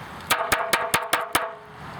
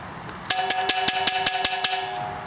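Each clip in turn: First: Six quick knocks on a clay pot give a fairly dull, short tone: porous, low-fired terracotta. Second: A quick run of light taps draws a bright, ringing ping from a hard, high-fired ceramic pot.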